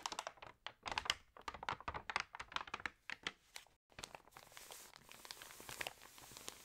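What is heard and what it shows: Fingertips and long nails rub and scratch the pages of an open, water-damaged glossy paper magazine and turn them. A rapid run of dry, bright crinkles and scratchy taps comes first, then a brief pause. After that comes a steadier, hissy rustle of sliding paper with lighter ticks over it.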